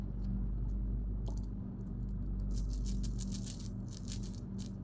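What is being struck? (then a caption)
Small hard sugar-shelled candies shaken in the hands. A handful of small, hard, sugar-shelled Skittles candies heaped in an open palm and cupped hands is shaken and rolled together. It makes bursts of bright, dry clicking rattles over a steady low hum.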